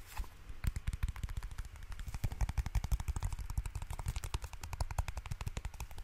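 A small solid pad of light blue paper sticky notes is held in the hands while fingertips and nails flick and riffle its edges, tap it, and handle the top sheets. A rapid, uneven run of short, crisp ticks and soft thumps fills the clip, each dying away almost instantly, with most of the weight in a low, dull thud.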